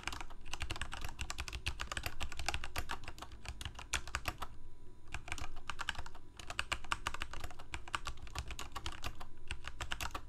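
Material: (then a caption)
Plastic. Fingertips of both hands type rapidly on a full-size Corsair K68 backlit plastic mechanical keyboard with Cherry MX Red switches, producing a dense stream of short, bright key clacks. There is a brief pause just before the five-second mark, and a steady low rumble runs underneath the whole clip.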